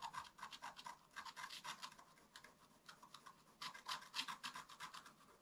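A wooden stick scratches fine lines into a flat black-coated scratch-art card, near a squirrel drawn on it. The sound is a quick, uneven run of short, dry, bright rasping strokes with a thin scraping edge. It comes in quieter and louder clusters, with no lingering ring.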